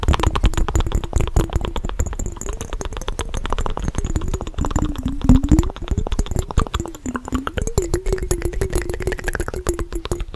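Fast tapping on a glass mason jar that holds water, with a rapid run of short, closely spaced taps heard throughout. Each tap is a brief, dull knock with a low ringing tone that drifts slightly in pitch, over a steady faint high hiss.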